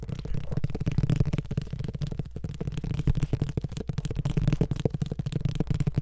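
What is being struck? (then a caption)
Paperback book with card cover. A hand-sized paperback Harry Potter book with a solid, glossy card cover is held close to the mic and rapidly tapped and handled with the fingertips. The result is a continuous run of soft, muffled, low thumps and rubbing sounds with almost no brightness, and possibly faint whispering underneath.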